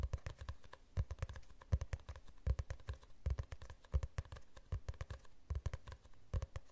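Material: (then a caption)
Cardboard. Fingernails tap rapidly on the cover of a glossy hardcover book held tilted. The result is quick, uneven bursts of short, dry ticks over soft, low thuds that stop almost instantly, with brief pauses between flurries.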